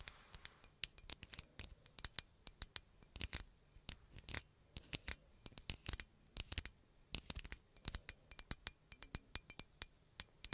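Long nails tap a hollow green glass bottle with a red cap in a quick, uneven run of dozens of taps. Each tap is a bright, sharp clink that stops almost at once with no ring, and there is little low end.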